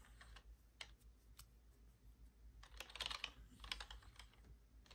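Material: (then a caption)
Plastic. Long blue acrylic nails tap and type on the hollow plastic keys of a black plastic computer keyboard. Quiet, sharp, high clicks come in irregular bursts and stop almost instantly, over a faint steady low hum.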